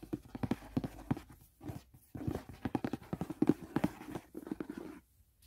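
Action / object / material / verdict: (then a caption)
tap / rigid cardboard box / cardboard / none. Fingertips and nails tap quickly on the lid and edge of a closed, hollow white rigid cardboard gift box. The result is rapid bursts of short, dull, hollow knocks with a low-mid body, separated by brief pauses and ending in a moment of quiet.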